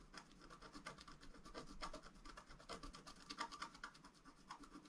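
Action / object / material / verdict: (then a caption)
scrape / black-coated scratch-art paper scratched with a wooden stylus / coated paper / none. A wooden stylus scratches lines near the lower right edge of a flat sheet of black-coated scratch-art paper lying on a table. A rapid series of short, dry scratching strokes is heard, each with a rough rasp and a bright edge centred around 1.2 kHz. The strokes overlap too closely to count.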